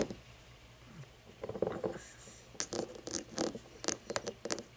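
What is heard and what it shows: An empty cut-crystal glass tumbler is handled, set upright and tapped with long painted fingernails. Soft scraping and shuffling come first, then a run of quick, bright, dry clicks that die away almost at once, with no lingering ring.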